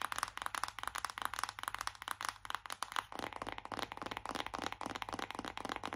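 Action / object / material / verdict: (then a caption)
tap / printed cardboard makeup palette tapped with long fingernails / cardboard / none. Long acrylic nails tap fast on a flat, hollow printed cardboard eyeshadow palette held up in both hands. About 29 quick, dry, hollow clicks come in a steady rapid stream, each cutting off at once with no ring. A faint low hum runs underneath.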